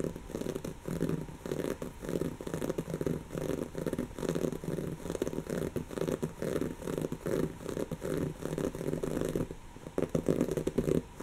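Long natural fingernails of both hands scratch a soft, stuffed, brown textured woven-fabric cushion. The result is a steady run of rapid, dry, rasping strokes with a fuzzy, mid-low body, briefly easing and then picking up again near the end.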